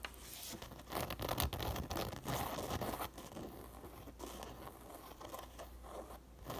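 Long nails scratch and tap the woven crown of a teal and brown coiled woven fabric sun hat that sits upside down on a table, its crown hollow. Fast, irregular bursts of dry, crinkly scratching and light taps come in uneven clusters over a steady low hum.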